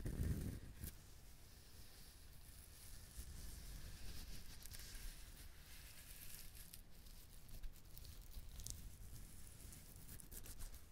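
Fingertips and nails tap and rub the husk of a whole, dried, brown fibrous husked coconut. The result is a quiet, continuous, crackly scratching with soft taps, a low dull rumble underneath and faint bright fibrous rasps.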